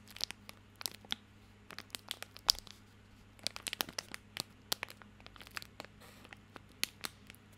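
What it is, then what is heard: Plastic soap wrapper being crinkled. A small bar of soap in a crinkly plastic film wrapper is held in both hands while fingertips scratch and crinkle the wrapper. The result is a quiet run of about twenty sharp, bright crackles and ticks that die away instantly, over a faint steady low hum.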